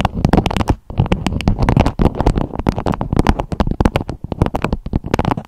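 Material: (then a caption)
Beeswax fabric. A beeswax-coated fabric food wrap with a strawberry print, draped over a microphone head, is tapped and scratched with long acrylic nails. A rapid, uneven run of short, dry taps and crinkly scratches comes through close and thumpy, weighted heavily toward the low end, with each hit dying away almost at once and only brief pauses between bursts.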